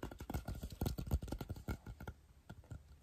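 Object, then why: Hard plastic lamp. A hand-sized, hard plastic Pac-Man style pixel ghost lamp with a color-changing light, likely hollow, is held up and tapped with the fingertips of both hands. Quick, uneven taps make soft, dull, low thuds with a short, clicky edge and almost no ring. The tapping grows quieter and sparser toward the end.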